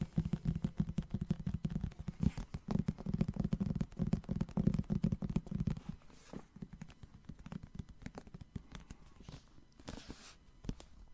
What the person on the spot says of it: I think will have really nice sounds as it is hard back